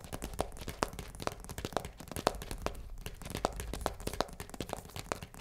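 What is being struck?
Cardboard pasta box.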